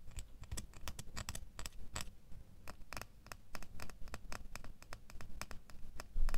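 A small, solid metal door key held between the fingers is tapped and scratched with fingernails, making a rapid, uneven run of crisp, bright clicks and scratchy ticks over a soft low rumble. The taps stay quiet and close until a louder cluster at the very end.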